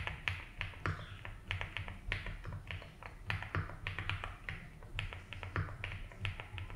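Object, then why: Mechanical keyboard with plastic keycaps and case. Fingertips slowly type on a 75% mechanical keyboard with ABS keycaps in a light blue plastic case. A steady, uneven run of short, bright clacks rises over a constant low hum.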